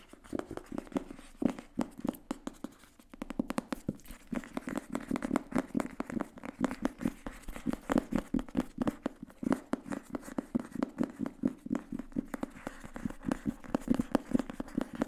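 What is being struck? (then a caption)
Paperback book with paper cover. A thin grey paperback book with a paper cover is held upright in both hands while fingertips and nails tap and scratch the cover. The result is a steady stream of quick, dry taps with a soft papery thud and short scratchy rasps between them. Each tap dies away almost instantly.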